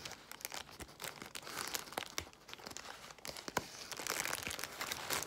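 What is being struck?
Crumpled plastic bubble wrap.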